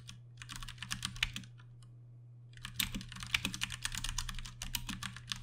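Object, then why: Plastic mechanical keyboard with tactile switches. A compact 60% Ducky One 2 Mini mechanical keyboard with plastic keycaps and Cherry MX Brown switches is typed on with the fingertips of both hands. The keystrokes come as rapid, bright clicky taps, with a pause of about a second in the middle, over a steady low hum.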